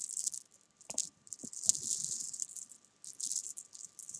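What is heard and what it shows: Fingertips and long painted nails rake, roll and tap a loose pile of small, solid, sugar-coated jelly beans on a fabric sofa cushion. The beans make a dry, bright, rattling patter of quick clicks with no ring. The bursts come in clusters separated by brief near-silent pauses.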